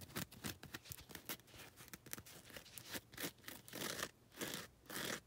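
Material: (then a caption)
Foam. Long red nails scratch across the lilac coarse-grit side of a foam nail buffer block. Quick, dry, bright rasping strokes come in an uneven rhythm, some brief and others drawn out into longer scrapes. Each stroke stops dead with no ring.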